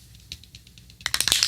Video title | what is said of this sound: DeBUNKING the Stuck Spray Can FIX (WHEN CANS GO BAD) Tips on How to Prevent This & Why it Happens | these cans haven't been shook in a while, and you'll hear it, right? You'll hear the ball go.